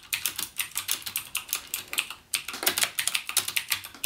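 Fingertips type continuously on a backlit mechanical keyboard with plastic keycaps and Cherry MX Blue switches. About 26 sharp, bright clicks follow one another in a quick, uneven rhythm, with a brief pause just past the halfway point. Each click decays almost instantly, leaving almost no low end.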